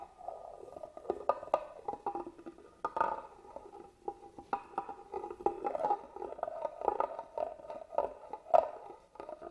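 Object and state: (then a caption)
Carved wooden box being scratched. A small black tool scratches across the carved pattern on the lid of a hollow, hand-carved wooden box held upright. It makes a dense run of quick, dry scratches and ticks with a hollow, midrange tone and almost no low end. Each stroke stops short without ringing.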